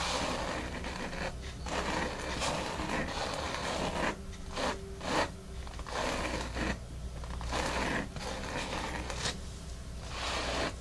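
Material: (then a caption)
Foam. Long fingernails on both hands scratch across a large, flat, dark grey foam mat with a solid, porous surface, making a steady, dry, broadband scratching and rustling with a low hum underneath. The scratching comes in uneven strokes with brief quieter gaps, and near the end the hands lift briefly above the mat.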